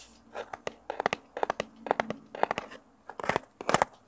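A small, hollow, rectangular brown kraft cardboard box is held in both hands close to a mini mic while fingertips and nails scratch and rub its surface. The result is a run of quick, dry, crinkly scratching bursts, centered in the mid range with bright edges and no ring, over a quiet background.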